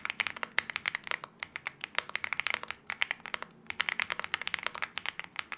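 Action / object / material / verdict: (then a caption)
tap / aluminium-case mechanical keyboard with plastic keycaps / aluminium, plastic / none. Both hands type continuously with their fingertips on a LEOBOG Hi75 aluminium-case 75% mechanical keyboard with KTT Wine Red switches and wine red plastic keycaps. The result is a rapid run of about 42 short, crisp keystrokes with bright clacks centred near 2 kHz, no low end and almost no ring. The keystrokes come in quick bursts with brief pauses at around 1.4 and 3.5 seconds.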